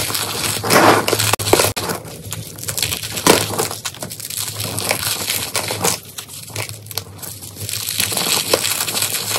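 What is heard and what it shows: Hands squeeze a solid block of dried cornstarch paste and crush handfuls of its dry, brittle flakes from a pile of crumbles with their fingertips and nails. This makes dense, continuous crunching and crackling with bright, gritty texture, a few sharper snaps, and a faint steady low hum underneath.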